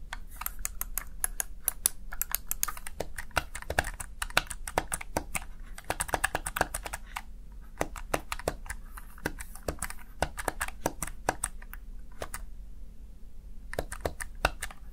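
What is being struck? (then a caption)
Plastic gaming keypad. Fingertips tap and press the keys of a small black plastic backlit Razer Tartarus Chroma gaming keypad, producing rapid, crisp clicks with bright edges over a steady low hum. The clicks come in dense bursts with brief pauses, and each one dies out almost instantly.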